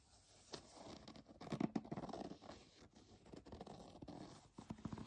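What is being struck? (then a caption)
Plastic foam bath pillow. Long nails scratch the side of a white textured plastic foam bath pillow, then fingertips tap its front while it lies flat. The result is soft, dry crinkly scratching and brisk rustling taps with a faint low hum underneath.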